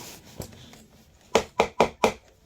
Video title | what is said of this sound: knee pads (tough built, Husky, Ridged, DeWalt) | It's really hard, so there's a possibility of scraping the hardwood